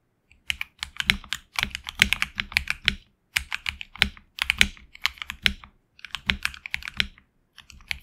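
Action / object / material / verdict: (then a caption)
tap / mechanical keyboard, plastic keycaps on aluminum plate / plastic / none. Fingertips of both hands type on a HyperX Alloy Origins Core tenkeyless mechanical keyboard with HX Red switches and PBT plastic keycaps on an aluminum plate in a hollow case. Bursts of quick, bright, dry clacks arrive in uneven runs with brief pauses, centred around 2.3 kHz with a light low thump beneath. Each keystroke dies away almost instantly.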